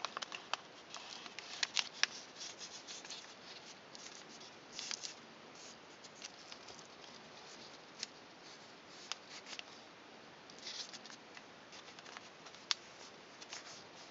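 A thin pink origami paper piece, folded into points for a swan, is held in both hands while fingers fold it and rub the creases flat with fingertips and nails. Quiet, bright, papery rustling and scratchy rubbing run throughout, broken by short crisp crackles and sharp snaps as the paper is creased.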